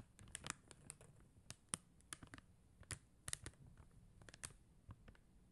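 Long teal acrylic nails tap on a flat sheet of acrylic rhinestone stickers, clear and blue faceted plastic gems on a white paper backing. Quiet, irregular, sharp, dry clicks with a bright high edge come in quick succession and stop instantly with no ring.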